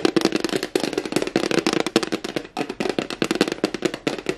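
Fingertips and nails tap quickly on the face of a flat white rectangular plastic tray with a raised rim and a hollow underside, held in both hands. The result is a rapid, uneven stream of short, dry, hollow clicks and knocks with a mid-low tone around 330 Hz, a bright crackling edge, and almost no ring between taps.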